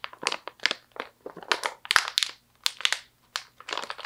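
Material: Plastic.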